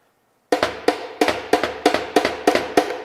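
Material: Steel.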